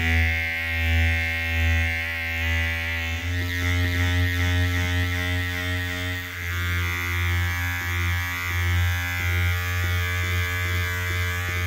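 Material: Nothing is struck.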